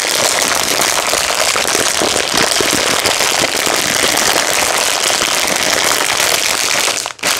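Fingertips squeeze and tap a medium red-and-clear plastic packet of dry spiral pasta held in both hands, crinkling the plastic and shifting the pasta inside. The result is a dense, steady, bright crackle with little low end that runs almost without a break, dipping briefly into near silence just after the 7-second mark before resuming.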